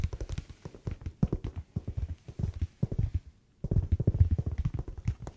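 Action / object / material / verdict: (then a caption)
tap / winter slipper / unknown / none. Fingertips tap rapidly on a winter slipper whose sole is not anti-slip, so it sounds different from a blue slipper. The taps are short, soft and dull, heavy in the low end, and sound somewhat like tapping on leather. The steady tapping breaks off in a brief pause just past the three-second mark, then resumes.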